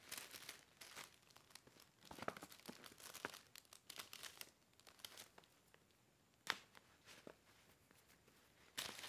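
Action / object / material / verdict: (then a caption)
scrape / paper gift bag / paper / none. A small, empty purple paper gift bag with a dotted pattern and a price sticker is handled with both hands by its rope handles and sides, above a pile of other bags. Quiet, bright crinkling and rustling comes in dense bursts, with a few sharper crackles standing out near the end.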